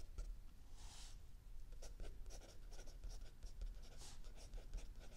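A mechanical pencil writes continuously on a lined paper page of a spiral-bound notebook lying flat on a wooden table, with an open paperback book resting still under the other hand. Soft, bright scratching strokes come in quick irregular bursts over a steady low rumble, staying quiet throughout.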